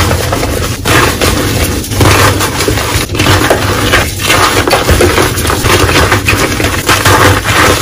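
Teal reformed gym chalk (magnesium carbonate) blocks in a bowl are squeezed, crushed and broken apart by bare, chalk-covered hands and fingertips. A steady dense crumbling and crunching runs throughout, with loose powder falling and brief dips between squeezes.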